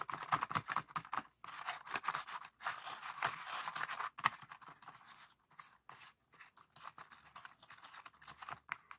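Both hands press and pop the hollow folded paper cells of a palm-sized, hand-folded heart-shaped pop-it made of rainbow colored paper (red, orange, yellow, green) lying on a wooden table, using fingertips. Quick, dry papery crinkles and soft snapping pops come in dense bursts separated by brief pauses, centered in the midrange with little low end.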